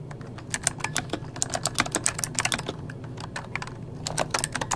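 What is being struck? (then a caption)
Plastic mechanical keyboard. Fingertips of both hands type rapidly on an RGB-backlit mechanical keyboard with plastic keycaps. The keystrokes are dense, bright and clicky, each very short with almost no ring, over a steady low hum.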